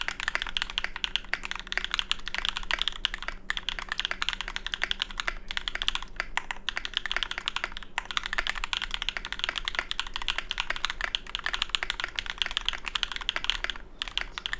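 A small 65% mechanical keyboard with a Tofu65 case, aluminium plate, GMK ABS keycaps and lubed Cobalt switches, resting on a deskmat, is typed on continuously with the fingertips of both hands. It produces a dense, steady stream of short, bright clacks that die away almost instantly, over a faint low hum.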